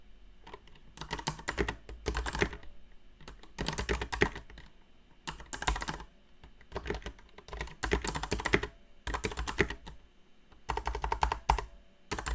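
Long nails type intermittently on a new backlit mechanical keyboard with plastic keycaps, pressing and clicking the keys. Short bursts of quick, crisp clicks alternate with brief pauses, each keystroke a sharp, dry tick with a low thock underneath and bright clatter on top.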